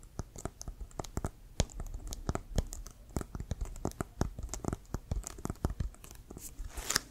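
Fingernails tap and scratch the pebbled leather of an inflated, hollow American football, making a quick run of dry, crisp clicks and scrapes. The short, sharp hits carry a low hollow thump under bright, crackly edges, with a rougher scratching burst near the end.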